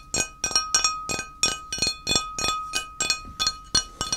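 A flat, solid, square grey ceramic tile held in the hand is tapped and scratched on its face and edge with fingertips and short nails. This produces a quick, uneven series of bright, glassy clinks with short, high ringing and a faint steady tone underneath, and almost no low end.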